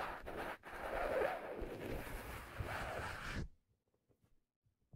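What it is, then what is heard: Leather fedora hat. Fingertips tap and rub an empty, hollow black leather fedora held in the hands and tilted. A dense, dry scratching and brushing texture runs for about three and a half seconds, with one brief break early on, then cuts off to near silence broken only by a few faint soft ticks.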